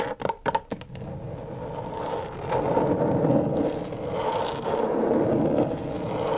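Long stiletto nails strike and scratch the plastic surface of a flat, thin, backlit rectangular LED tracing pad. Five quick, sharp taps open the clip, then a steady, gritty scraping follows, swelling louder in waves with a midrange rasp.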